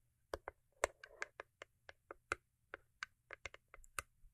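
Long acrylic nails tap the top and sides of a small, closed, hollow cube-shaped cardboard gift box covered in holographic foil. About 18 sharp, dry, hollow-sounding clicks come at an irregular pace, each dying away almost instantly, with a brief light scratchy patch near the start. The overall sound is quiet and crisp.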